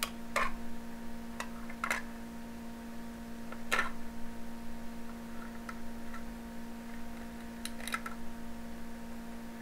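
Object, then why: Aluminum foil stretched over a small glass jar. Aluminum foil pulled tight across the mouth of a small glass jar, held in one hand, is repeatedly pierced and poked with a thin metal needle. Sharp, crisp ticks and faint crinkles sound at irregular intervals over a steady low hum.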